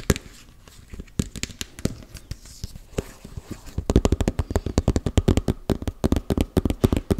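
Fingernails tap and scratch on the side of a closed, round, hand-sized body-butter tub with pink label sides, likely plastic. Sparse, scattered taps and light scratching give way about halfway through to a fast, steady run of dozens of dry, short knocks. The knocks are low and thuddy, with little high brightness.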